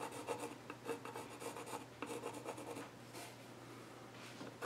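A pencil tip sketches across the flat top of a solid, reddish-brown, grain-patterned wooden child's stool as a hand rubs and scratches the surface. Quiet, dry rasping strokes come in quick bursts, then thin into a softer, steady scratching, with a faint low hum underneath.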